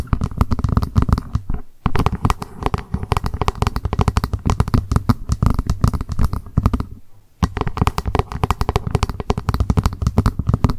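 A small hollow plastic lunch box, held upright, is tapped rapidly with long pointed acrylic nails along its top edge and lid. The result is dense bursts of quick, dry clicks with a low hollow thump under them. Brief pauses break the tapping near the 2-second and 7-second marks.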